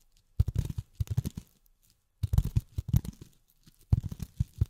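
Long fingernails tap on polyethylene foam in three quick bursts of rapid, soft taps separated by short silences. Each tap is a dull, low thud with a faint crinkly edge and almost no ring.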